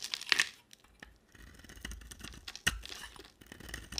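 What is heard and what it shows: A utility knife blade shaves the red outer layer off a small, round, solid bar of soap with a white core. Crisp, bright scraping and crackling strokes sound quietly, with sharper louder bursts near the start and again near the middle.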